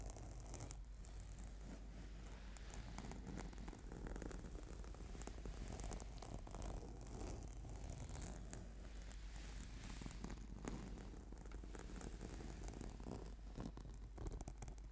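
Fingertips tap and fingernails scratch across a flat purple sticky PVC/foam yoga mat. The result is a continuous stream of quiet, soft scratchy rustles and muffled taps over a steady low hum, with no ringing after each contact.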